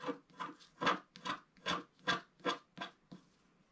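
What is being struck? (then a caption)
Wax-coated scratch art paper card. A pointed wooden stick scratches the black coating off a flat, thin wax-coated scratch art paper card with an owl picture, lying on a table. About eight short, dry, raspy strokes come in a quick, uneven rhythm, each a bright scraping burst that fades almost at once.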